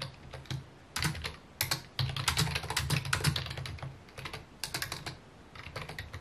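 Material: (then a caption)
Plastic. A full-size white and mint plastic computer keyboard with a hollow housing sits on a wooden desk and is typed on with fingertips. Rapid, irregular bursts of key taps come in short flurries separated by brief pauses. Each tap gives a bright, dry click over a low hollow thump that dies away almost instantly.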